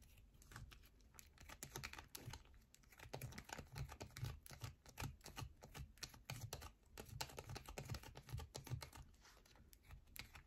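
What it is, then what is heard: Bar of soap scratched with nails. Long nails scratch and tap fast along the curved edge of a solid yellow bar of soap held in both hands. The result is a quick, irregular run of short, dry clicks and scrapes with a soft low thump beneath them, and the sound dies away almost at once.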